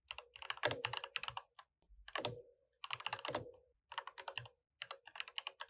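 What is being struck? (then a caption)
Mechanical keyboard with plastic keycaps. Fingertips of both hands type on a full-size, RGB-lit mechanical keyboard with plastic keycaps. About 30 quick, bright plastic clacks come in five short bursts separated by brief pauses, each tap sharp and dying away almost at once with a slight hollow tone near 600 Hz.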